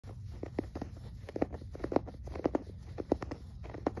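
Fingertips scratch and rub the fuzzy polyester surface of a stuffed, soft yellow plush toy, about hand-sized or bigger, lying on a grey carpet. Soft, muffled scratching and quick brushy taps repeat over a low, steady rumble. The taps are short and dull, with little bright content.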